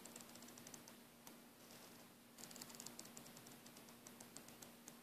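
Fingertips and nails scratch and rub the braid of a coiled green braided nylon airbrush air hose. The result is a quiet, bright, crackly scratching with a quick run of sharp ticks, over a faint steady low hum.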